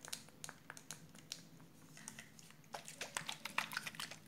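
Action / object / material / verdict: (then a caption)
tap / plastic spray bottle with water / plastic / none. Long purple nails tap and scratch around a round clear plastic spray bottle with a red cap, partly full of water. A quiet, uneven run of short, bright clicks and scrapes plays over a low steady hum, with the taps growing sharper and busier toward the end.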